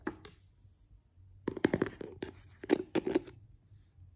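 Fingertips and nails tap and scratch on the white plastic inner seal and rim of an open white plastic cream jar, its green lid removed. Short, dry, hollow taps and scratchy rubs come in quick clusters separated by quiet pauses, with no ring after each hit.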